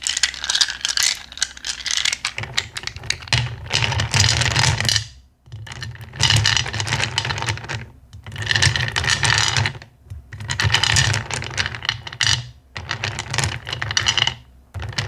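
A handful of small clear faceted acrylic gems is shaken in cupped hands, then fingers rake and scratch through the pile in a black bowl. The result is dense, bright clicking and rattling in several long bursts separated by brief pauses, with a soft low rumble from the handling beneath.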